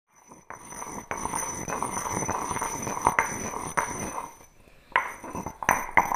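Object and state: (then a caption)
Granite mortar and pestle. A heavy, solid grey hand-sized granite mortar with a matching stone pestle is worked with both hands, the pestle grinding and knocking stone on stone inside the bowl. A continuous gritty scraping rises and falls, broken by sharp clinking knocks that ring briefly with a bright tone around 950 Hz.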